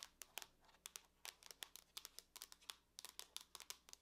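Long nails tap and scratch across the lid of a closed silver aluminum laptop, giving about 22 quick, sharp clicks mixed with faint scraping. The sound is quiet, very short and bright, with almost no low end.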